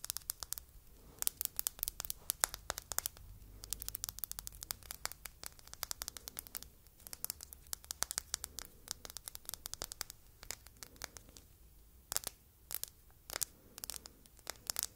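Long red nails tap and scratch a small red glass apple-shaped perfume bottle with a silver cap, turned to show its base. Dozens of quick, bright clicks and crisp scratches come in irregular bursts over a faint low rumble, each one dying away almost instantly.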